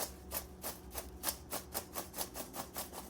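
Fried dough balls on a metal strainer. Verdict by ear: Crispy.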